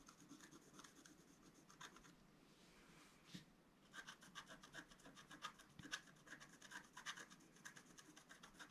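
A wooden stylus scratches and rubs the coating of a flat, black-coated scratch-art card, about A4, lying on a table. Quick, dry scraping strokes come in a busy run with a bright, rasping edge, pausing briefly in a softer smeared rub before the crisp scratching resumes.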